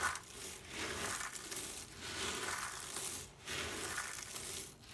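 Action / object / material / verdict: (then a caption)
scrape / pile of soap shavings / soap / none. Hands with short painted nails rake, rub and sift through a large loose pile of small brown dry soap shavings on a table, letting the flakes fall. The result is a steady, bright, crunchy crinkling that swells in four passes, with brief dips in between.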